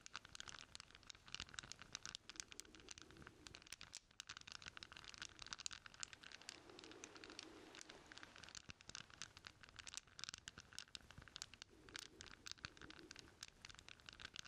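A bundle of solid steel chain links is held cupped in both hands while the fingers rub and shake the links together. The result is a quiet, steady stream of bright metallic rattling and scratching, made of many sharp clicks with no ring after them.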